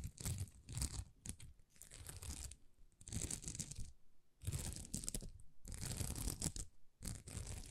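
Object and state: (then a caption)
Plastic rhinestone sticker sheet. Long nails scratch across a thin, flexible sticker sheet of small plastic rhinestones, making rough, crinkly scraping in repeated bursts separated by brief quiet gaps. Each burst pairs a dull low rumble with a bright, hissy crackle.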